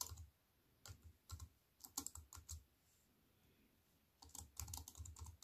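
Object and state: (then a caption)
Plastic computer keyboard being typed on. Fast typing with fingertips and long white nails on a compact wireless keyboard with black plastic keys in a thin silver aluminium frame, resting on a wooden table. Short bursts of crisp, bright key clicks with a soft low thud under each press come in quick clusters. A quiet pause in the middle gives way to a denser final flurry of taps.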